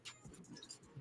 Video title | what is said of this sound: HOW TO MAKE BLUE DRINK WITH RAFA | that's how you know it's dry